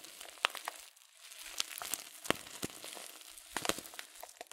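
A filled, glossy coated-paper tea packet holding loose-leaf tea is crinkled with the fingertips. The result is soft, bright, dry crackling with scattered sharp snaps and almost no low end, and each crackle stops instantly.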